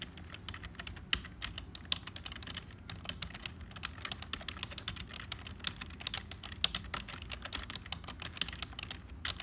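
Fingertips of both hands type fast on the hollow plastic keys of a black HP membrane keyboard. A dense, steady stream of short, bright clacks with almost no ring sits over a faint low rumble, with a few sharper, louder key strikes standing out.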